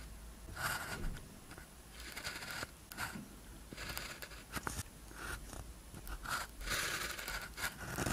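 A blue ballpoint pen tip scratches across a thin paper practice sheet with a red grid lying flat, writing characters. Bursts of dry, papery scratching come and go with a bright hiss, with short strokes and brief pauses between them.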